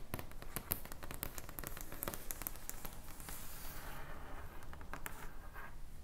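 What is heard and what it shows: Long painted nails scratch and tap a flat, padded rectangular item covered in reversible purple and pink plastic sequins on fabric, and fingertips rub across it. Quick, irregular, bright clicks and scratchy ticks fill the first half. The sound then shifts to a softer, continuous swishing rub with scattered clicks.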